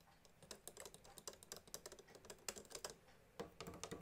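Fingertips and nails tap on the plastic piano keys and casing of a small blue pearloid plastic accordion, with no bellows played. The result is a rapid, irregular run of light, dry, typing-like clicks that die away almost instantly and carry no musical tone.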